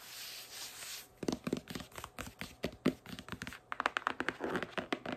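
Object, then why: Cardboard packaging box. Long acrylic nails tap and scratch across the flat cardboard face of a large pink printed cardboard retail box with a clear plastic window, held upright. A soft, hissy scratching opens the clip, followed by about two dozen quick, dry, hollow taps. The taps turn brighter and more scratchy toward the end.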